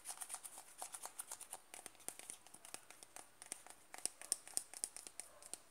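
A closed white-and-blue plastic cream jar is held in the hand while fingertips tap and scratch its lid top and side. The result is a quiet, quick run of dry, bright plastic ticks and crinkly scratches with no ring, and the taps grow sharper toward the end.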